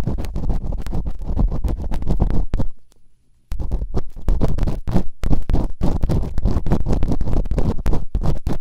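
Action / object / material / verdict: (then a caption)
scrape / silicone ear microphone scratched with bamboo earpicks / silicone / none. Bamboo earpicks held in fingertips with long nails rapidly scratch and rub inside the open canals of the two soft, solid, rubbery silicone ear models on a white binaural microphone. The result is a dense stream of close, muffled, low scraping thuds and rumbles, with a brief near-silent pause partway through before the fast scratching resumes.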